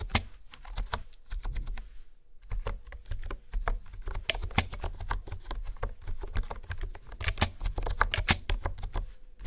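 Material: Plastic.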